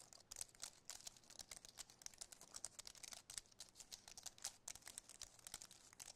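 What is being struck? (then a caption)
Wireless keyboard with aluminium frame and plastic keys. Fingertips and nails rapidly tap and press the plastic keys of a compact white wireless keyboard with an aluminum frame. The result is a quiet, dense stream of short, bright clicks with crisp high-end snap, almost no low end, and no ringing after each tap.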